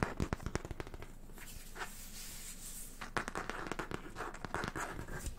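Fingertips and nails tap and scratch the front cover of a small, closed, yellow Peanuts hardcover book, "Thoughts on Getting Well," with a printed paper-covered board cover, held in the hands. Quick, dry taps come first, then a steady, soft scratching stretch, then another flurry of crisp taps and scratches that die away almost instantly.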